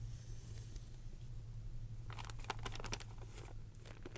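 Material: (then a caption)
Paper. An old 1992 Florida Parade Sunday newspaper magazine of thin printed paper, flat and a few pages thick, lies on dark fabric while both hands hold its edges and the fingertips tap and crinkle it. After a quiet stretch with a steady low hum, a run of short, dry, bright crinkles and light taps starts about halfway through and continues to the end.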